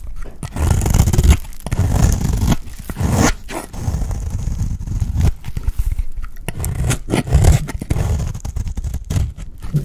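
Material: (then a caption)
Soap. A round, dry, solid cream soap bar is held in the hand while it is scraped and shaved with a utility blade. The result is continuous low, crumbly scraping rasps that come in repeated strokes separated by brief pauses.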